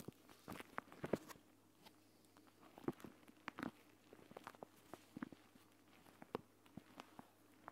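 A flat, clear plastic gel bead eye mask, a pouch filled with green gel beads, lies on a mat next to the recorder while fingertips and long nails tap and scratch across its surface. Short, dry, irregular clicks and soft scratches sound over a faint, steady low hum.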